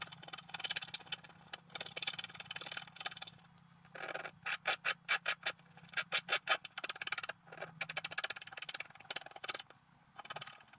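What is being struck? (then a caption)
Scratch-art paper sheet scratched with a wooden stylus. A wooden stylus scratches fine lines through the black coating of a flat scratch-art card with a colored base, lying on a table while the other hand holds the sheet. Dry, bright, hissy scratching strokes come in short, quick bursts, with a rapid rhythmic run of separate scrapes in the middle. A faint steady low hum sits underneath.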